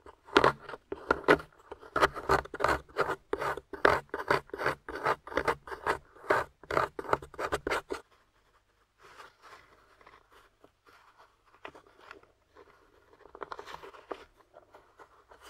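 A metal spoon scrapes quickly and repeatedly across a solid, grey, crumbly plaster dig-kit block, making loud, dry, rasping strokes for about eight seconds. Fingers then crumble the loose plaster pieces away, giving a much quieter, scattered, gritty crackle.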